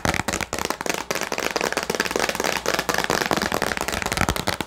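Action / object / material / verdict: tap / small clear plastic storage box / plastic / none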